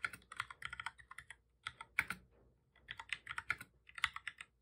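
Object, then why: Plastic computer keyboard. Both hands type steadily with their fingertips on the keys of a full-size black plastic computer keyboard resting on a desk, its body hollow. About two dozen short, bright, clicky key taps come in quick bursts, with brief pauses between runs. Each tap dies away almost at once, with very little low end.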